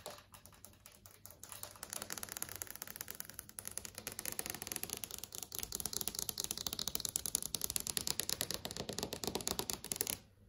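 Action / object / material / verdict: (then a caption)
tap / flat LCD TV screen, plastic panel / plastic / none. Long acrylic nails tap rapidly on the plastic-film LCD panel of a large flat TV screen. The result is a dense stream of short, dry, bright clicks that starts sparse and quieter, builds into a steady fast patter, and stops abruptly near the end.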